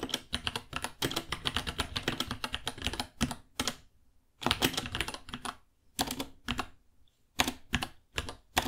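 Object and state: Plastic mechanical keyboard.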